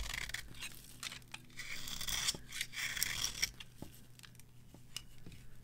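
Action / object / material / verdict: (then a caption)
scrape / bar of soap carved with a metal knife / soap / none. A metal knife carves crumbly shavings from a solid, dry, varnished bar of soap held in the hand. The result is irregular, bright, dry scraping and crunching strokes with quick, crisp snaps and no ringing.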